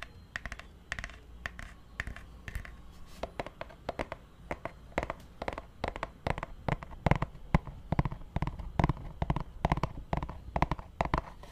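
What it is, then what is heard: Hardcover book tapped. A purple hardcover book is held near the mic and tapped on its cover with fingertips and nails in a quick, typing-like pattern. The result is a steady stream of short, dry, quiet taps with an uneven rhythm, some landing sharper and brighter where the nails strike. The taps die away almost instantly against a low, soft background.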